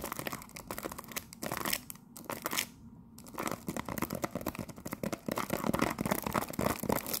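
Long nails tap and scratch rapidly across the back of a cellophane-wrapped cardboard tea box with a gold emblem. The result is a dense, irregular stream of crisp crinkling clicks and scraping rustles with bright, brittle edges, easing briefly around two to three seconds before building back up to louder, busier scratching.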